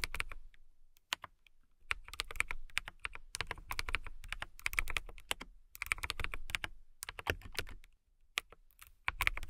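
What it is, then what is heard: Acrylic mechanical keyboard being typed on. A KiiBOOM Phantom 81 mechanical keyboard with a hollow, transparent acrylic case, clear keycaps and RGB lighting is typed on by fingertips with long manicured nails. Bursts of quick, bright, clicky keystrokes with a dull low thud sound between short pauses. Each click is dry and dies away almost instantly.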